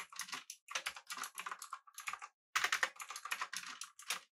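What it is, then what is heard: Mechanical keyboard typing. Fingertips of both hands type rapidly on a full-size, backlit, typewriter-style mechanical keyboard with blue switches, an aluminum body and round plastic keycaps. Bright, crisp clicks clatter in quick bursts with no low end. Brief pauses break up the bursts, and each click dies away almost at once.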